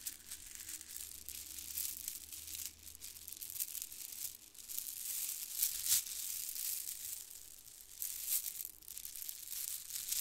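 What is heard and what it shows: A handful of white plastic faux-pearl bead garland strands is squeezed and rattled between fingers close to the microphone. The result is a dense, bright, crinkly clatter of small plastic clicks that swells and fades in irregular bursts, with a faint low hum underneath at the start.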